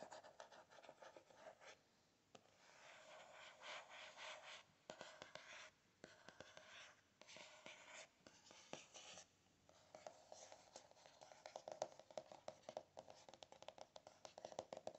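Fingernails tap quickly on the cardboard cover of a closed spiral notebook. The sound is quiet and papery, with soft scratchy, rubbing bursts early on that give way to denser runs of crisp, short clicks.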